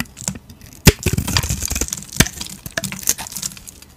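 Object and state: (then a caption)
Bar soap being shaved. A utility knife blade shaves thin flakes off a solid, rectangular stamped Hacisakir soap bar with a gold-painted surface and white interior, held in the hand. The blade makes dry, crisp scraping and crackling cuts with bright edges, and sharper snaps stand out near 0.9 and 2.2 seconds. Softer, brief crinkles of flakes coming away fill the gaps between them.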